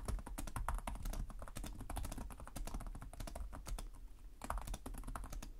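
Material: Plastic.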